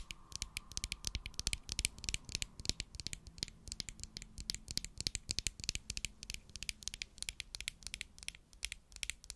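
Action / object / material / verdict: tap / plastic glue stick tube / plastic / none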